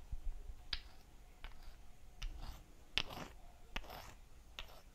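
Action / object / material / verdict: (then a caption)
knock / two miniature fired-clay bricks / terracotta / none. Two tiny hollow fired-clay (terracotta) bricks with holes, each a few centimetres in size, are held in the hands and tapped against each other. Six sharp, bright, dry clicks sound at irregular intervals, each dying away almost at once over a low, soft rumble.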